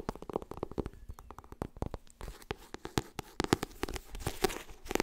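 A fingernail taps quickly on the cover and edges of a white softcover *Getting Things Done* paperback book. The result is a rapid, uneven string of short, dry clicks with a mid-pitched papery knock and bright ticking tops. The taps grow busier and slightly louder toward the end.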